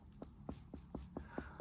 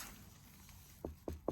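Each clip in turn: First: unripe spaghetti squash, not hollow. Second: riper spaghetti squash, more hollow sound.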